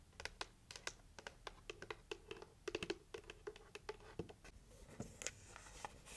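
Long nails tap quickly on a red heart-shaped cardboard gift box as it is turned between its printed lid and its plain red side. The result is a rapid string of light, dry clicks with a faint hollow ring around 350 Hz and a bright scratchy edge, with each tap dying away almost at once.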